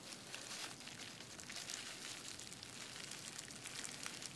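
Fingertips and nails tap and scratch across a clear plastic bubble wrap sheet lying flat on a desk. The result is a steady, quiet stream of bright, crinkly crackles and scratches with very little low end.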